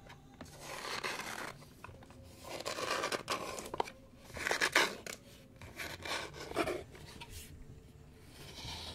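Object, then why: Small light-wood box with a latch. Fingertips and nails scratch and rub the lid and sides of a small, hollow, engraved light-wood box with a latch, held in the hands. Soft, papery rasping strokes come in uneven bursts, some brighter and louder than others, with quiet gaps between them.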